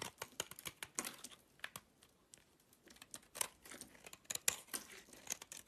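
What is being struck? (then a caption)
Bar of soap cut with a blade. A box-cutter blade shaves flakes off a solid green bar of soap held in the hand. It makes a quick series of short, crisp scraping and crackling strokes. The sound is quiet, dry and bright, with almost no low end and no ring after each stroke.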